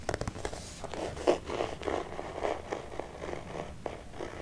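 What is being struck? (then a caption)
Hard-shell faux leather glasses case. A hollow, hard-shell red faux leather glasses case, held upright in one hand, is scratched and stroked along its surface with fingertips and medium-length painted nails. About ten soft, raspy scratching strokes come at an uneven pace, mostly in the low midrange with a faint bright hiss. Each stroke dies away quickly, with one louder scrape standing out near the middle.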